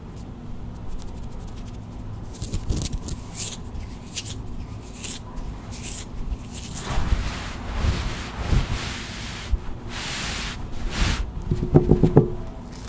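Long white acrylic nails scratch quickly across a soft white faux-sherpa fleece blanket laid flat, making fast, uneven bursts of brushing, rustling scratches. The scratches sit over a steady low rumble, grow busier in the second half, and end with a cluster of sharper clicky scrapes.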